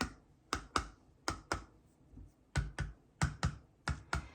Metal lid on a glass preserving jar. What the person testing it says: They're all the same jars and they're making a pretty similar tone. So, all of those have gone down.